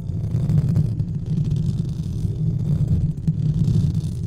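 Fingertips of both hands rub and scratch a white textured foam or fabric windscreen covering a large studio microphone. The result is a steady, muffled low rumble with a dense scratchy texture, nearly all of its energy sitting below 200 Hz and swelling and dipping slightly over about four seconds.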